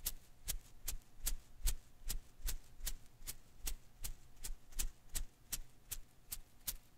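Fingers rub and pluck the strands of a hand-sized blue and green rubber-filament Koosh ball held in one hand. Eighteen short, bright snapping clicks come at a steady pace over about seven seconds, each dying away almost at once above a soft, low rustle.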